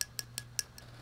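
A metal jewelry piece from a jar of vintage jewelry, possibly ten karat, is tapped five times, giving short, bright, high-pitched clinks that die away almost instantly over a faint low hum. The piece sounds hollow.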